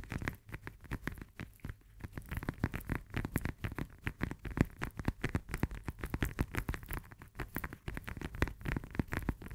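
Long nails tap and scratch rapidly across the peel of a whole, solid fresh lemon held in both hands. The clip is a steady stream of quick, dull, low-heavy taps with soft scratchy brushes between them, each tap dying out almost instantly.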